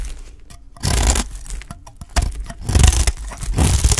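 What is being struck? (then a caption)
Olive-oil soap bar scraped with a blade. A utility knife scrapes and shaves the edge of a dry, solid green olive-oil soap bar held in the hand. Gritty, crunchy scraping bursts with bright, high hiss and a low body come in uneven strokes, separated by short quiet pauses.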